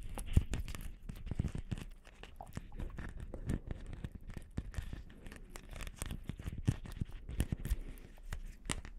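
A palm-sized, hollow round Christmas ball ornament covered in small light-blue plastic beads is held in both hands and tapped and scratched with long painted nails. Quiet, dense clicking taps mix with scratchy, crinkly rasps, each sound dying away almost instantly, with most of the energy low and only faint brightness on top.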